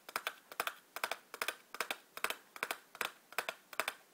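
Long black-polished nails tap and scratch the sides and edges of a small, hollow, printed cardboard matchbox standing on a white table. There are ten evenly spaced bursts of quick, dry clicks, each a cluster of two or three bright taps with almost no ring. Quiet pauses fall between the bursts.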